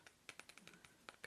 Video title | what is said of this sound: ASMR - 🔮 💎 Soft Spoken Crystals, tapping and reiki | this is selenite